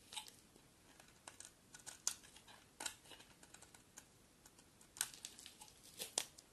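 A solid bar of green soap held in the hand is shaved into curls with a utility knife blade. Quiet, bright scraping and crisp crackling strokes come in uneven bursts, with a few sharper cuts standing out. There is almost no low end.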